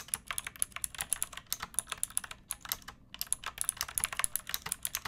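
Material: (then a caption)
Plastic. Long nails and fingertips type quickly on a backlit pink mechanical keyboard with round plastic keycaps and a hollow plastic case. They make a stream of sharp, bright, clicky taps with little low end, each dying away almost at once. There is a brief pause just before the middle.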